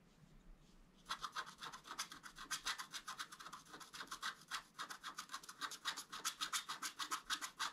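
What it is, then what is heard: Scratch-art card being scratched. A thin wooden stylus held in the fingers scratches the black coating off the antler area of a flat, thin, solid A4-size scratch-art card in short strokes. After a second of near-silence, a steady run of quick, dry, raspy scratches follows, about three or four per second. Each stroke is brief and bright, centred around 1.3 kHz with a high hiss and almost no low end.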